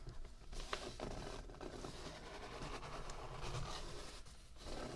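Fingertips of both hands rub and scratch across the thick, slightly speckled paper pages of an open handmade notebook with a soft cover, lying flat on a dark table. The clip is a steady, quiet, dry scratching and rustling with a low, soft rumble underneath and brief brighter scrapes along the way.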